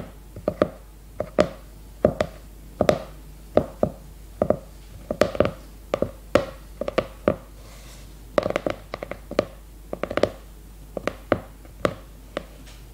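A leopard-print hardcover notebook is held upright in both hands while long red nails tap quickly on its glossy cardboard cover. The taps come in quick, irregular clusters of short, dry clicks with a hollow mid-range tone near 600 Hz. Each tap dies away almost at once, leaving brief quiet gaps between bursts.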